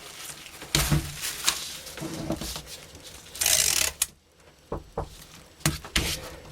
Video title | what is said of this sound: 7 Inch Double Petal Ballshell Rocket Heading, Experimental. See note below the video | crammed tightly full and not rattle too much when I pick it up and shake it